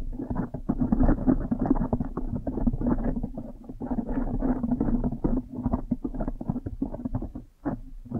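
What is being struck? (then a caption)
Foam microphone windscreen. Fingers squeeze a blue foam windscreen on a microphone while long nails scratch it. Close, dense, muffled crackling and squishing rustles run almost without pause, with a steady low hum, little bright content, and one brief lull near the end.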